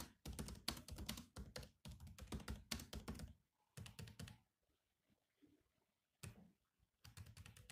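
Fingertips of both hands type on a grey laptop keyboard with black plastic keys, making fast, irregular bursts of clicky, thudding keystrokes. Brief gaps break the run, with a longer pause near the middle before typing resumes.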